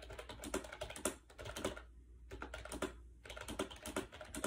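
Fingertips type fast on a compact gray AJAZZ 308i wireless Bluetooth keyboard with hollow plastic keys and round white keycaps, resting on a bed. Quick, bright plastic clacks come in dense bursts with two short pauses, each click dying away almost at once.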